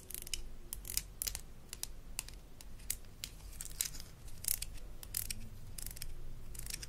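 Long nails scratch the molded bristles and tap the handle of a small blue plastic toy toothbrush from a Melissa & Doug Super Smile Dentist Kit. Quick, dry clicks and bright scratchy bursts come in an irregular stream over a low, steady background.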